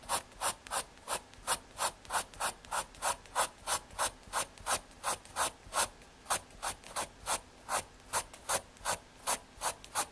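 A graphite pencil rubs quick hatching shading strokes across a small square of thin, solid brown MDF fiberboard. Each stroke is a short, dry, scratchy rasp with a bright hiss and a mid-range tone, with almost no low end. The strokes repeat at a steady back-and-forth pace of about three per second.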